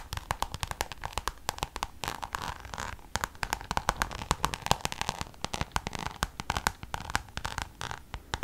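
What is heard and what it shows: Long nails tap and scratch the face of a Louis Vuitton Damier checkered coated canvas pouch held upright in one hand. The result is a rapid, uneven run of sharp, dry clicks with almost no ring, set over a soft scratchy crackle, each tap bright with a midrange tone around 860 Hz.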